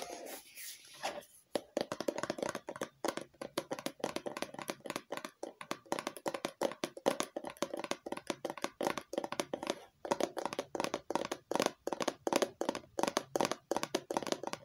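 Long nails tap rapidly on a medium red plastic cosmetic squeeze bottle with a printed label, its contents not visible. A brief soft rustle opens, followed by a steady run of crisp, quick clicks with a hollow mid-range plastic tone around 555 Hz that die away almost instantly, with short pauses between bursts.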